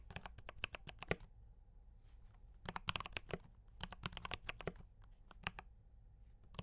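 Fingertips type on a D84 mechanical keyboard with brown switches and cream and red plastic keycaps. Quick bursts of sharp, bright clacks are broken by short pauses, each keystroke stopping almost instantly over a low, steady background hum.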